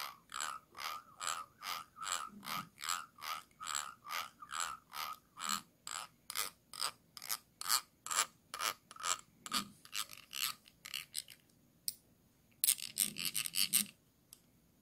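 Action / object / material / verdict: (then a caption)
scrape / small glass jar / glass / none. A thin stick tool rubs and scratches across the ridged base and side of a small, round, hollow clear glass jar held in hand. Steady, rhythmic rasping strokes repeat at roughly two per second, each a bright, scratchy burst with a short ring. Near the end, the strokes break into quicker, denser scratches before stopping.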